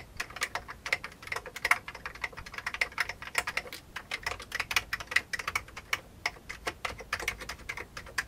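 Both hands type continuously with their fingertips on a full-size old beige plastic computer keyboard. The result is a steady stream of short, bright, dry key clicks with almost no low end and no ringing.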